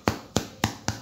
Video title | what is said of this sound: Pan Casero para Principiante facil y sencillo de preparar en casa sin complicaciones paso a paso. | bien creux ça sonne à l'intérieur